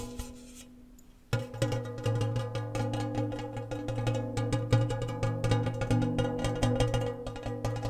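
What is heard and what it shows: Fingertips and nails tap fast on the metal surface of a round, red printed, medium-sized Annas gingersnaps biscuit tin, hollow and empty with its lid off, held up near the mic. After about a second of near silence, a dense run of quick, uneven metallic taps begins. Each tap rings with a low, hollow tone and lingers briefly.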